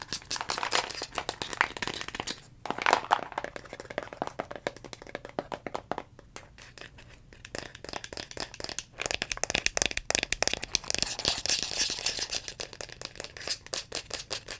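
A dark brown plastic vitamin bottle with a green plastic cap is tapped and scratched with long fingernails on both the cap and the body. The result is a dense stream of crisp, bright clicks and scratchy crinkling, with short pauses and quieter stretches between bursts.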